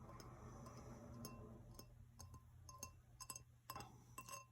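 A Star Wars printed drinking glass, kept in a china cabinet and feeling very fragile, is tapped lightly, giving a series of short, bright clinks that ring around 1 kHz and fade quickly. A steady low hum sits underneath the taps.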